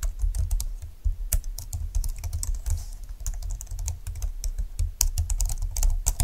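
Fingertips with nails type on a slim computer keyboard with plastic keys lying flat on a desk. A steady run of quick, light clicks and taps is heard, each with a bright tick over a low thump, ending almost at once with no ring.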